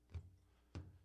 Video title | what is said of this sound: Café Scientifique: Everything you have ever wanted to know about the Big Bang but were afraid to ask | if i flick the balloon you can hear just it resonate and what you're hearing there are basically waves moving across the surface of the balloon